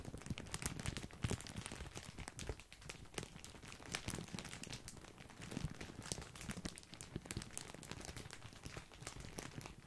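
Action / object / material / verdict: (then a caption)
scrape / plastic bag of breadsticks / plastic / none. A large, full, white printed plastic bag of grissini breadsticks is crinkled with the fingertips. Dense, continuous crinkling and sharp crackles run throughout, with bright, brittle ticks over a soft, low rustling body. Quieter and busier stretches alternate.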